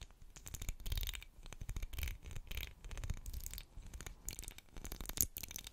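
Long black acrylic nails scratch along the ridges of a solid, medium pink twisted-ridge wax pillar candle. The result is a quiet run of dry, crackly scratching bursts with a bright, hissy edge over a soft low rumble, pausing briefly between strokes.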